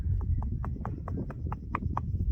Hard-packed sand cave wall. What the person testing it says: when you knock on it, I mean, it's even kind of hollow sounding